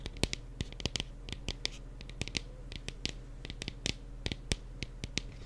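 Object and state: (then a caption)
Plastic mini pumpkin. Fingers tap and trace across a small decorative plastic mini pumpkin, producing a quick, irregular series of short, crisp clicking taps with bright high-frequency edges. Faint scratchy rubbing sounds fill the spaces between the taps over a low, steady background hum.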